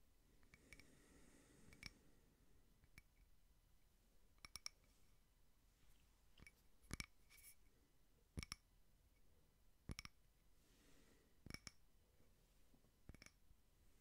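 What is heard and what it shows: A small frosted glass votive candle holder with printed cake designs is tapped and lightly scratched with fingernails. Quiet, irregular taps produce sharp, bright clicks that die away almost instantly, separated by soft, faint scratching.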